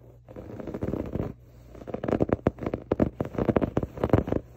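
Fingertips and short nails scratch across a soft, stuffed grey pillow with a diamond waffle-weave fabric cover. A steady, muffled rustling scrape runs for about a second, pauses, then gives way to a quick run of short, dry scratching strokes. The sound stays low and soft, without bright edges.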